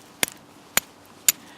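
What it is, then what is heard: Soft stone, no hard material for sparks. A piece of steel strikes the edge of a stone three times while trying to make sparks, each hit a short, dry click with almost no ring. No sparks appear and the edge crumbles with each strike. The dull sound shows the stone is soft with no really hard material in it, making it a poor candidate for fire lighting.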